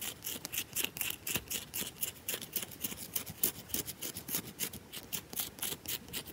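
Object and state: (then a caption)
Round bar of soap, scratched. Long nails rapidly scratch grooves into the scored top surface of a round, solid bar of soap. The result is a quick, uneven series of bright, dry rasping scrapes, each short and sharp with almost no low end.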